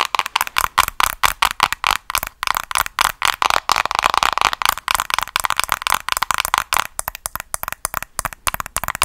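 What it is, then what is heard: Plastic hairbrush tapped with nails. Long acrylic nails rapidly tap and scratch the colourful printed hard plastic back of a hollow-looking handheld paddle hairbrush held up in front of the face, with rings on the fingers possibly adding faint clinks. About 38 fast, dry clicks and scratchy bursts sound with a hollow tone centered near 1 kHz and bright, crackly edges. Each hit dies away almost instantly.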